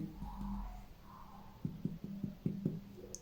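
Percussion of the left upper abdomen over the splenic area, between the axillary lines, the cardiac dullness and the left costal margin, gives six short, low, hollow taps with a brief ring around 150–200 Hz after a quieter opening. The note is tympanic, indicating no splenomegaly.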